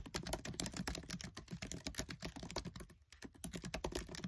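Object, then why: Laptop keyboard with plastic keys in an aluminium body. Fingertips of one or two hands type rapidly on the black plastic keycaps of a MacBook Air keyboard set in a silver aluminium body, heard up close at keyboard level. The result is a dense stream of short, crisp clicks and taps with a low thud under each press, briefly pausing around the three-second mark before the fast typing resumes.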